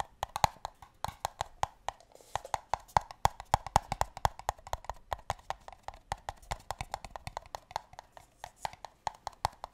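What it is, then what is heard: Empty paper cups. Fingers tap rapidly on the bases of empty, hollow pale green paper cups. The result is a steady stream of short, dry, hollow knocks with a woody tone centred near 850 Hz, each dying away almost instantly, some louder than others.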